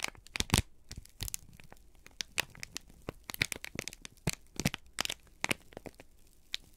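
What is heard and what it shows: A folded, crinkled sheet of brown kraft paper is held in both hands and squeezed and crumpled with the fingertips. It gives a quick string of sharp, bright crackles and crunches with a little low thump under some, each dying away almost at once, over a quiet background.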